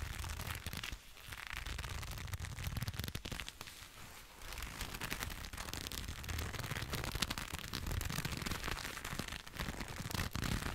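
A pair of black leather gloves worn on both hands, held close to the microphone, as the gloved fingers rub and squeeze against each other, with a leather jacket nearby possibly adding to the sound. The result is a steady, close crackling and creaking rustle full of dense small clicks over a low, muffled body, with brief quieter dips near one and four seconds.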